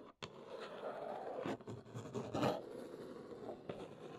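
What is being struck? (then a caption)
Large cardboard box. Long nails scratch and trace across the top of a large, hollow brown Neewer cardboard box. The result is a dry, papery rasp with a few sharper scratchy strokes rising above a steady low-mid rustle.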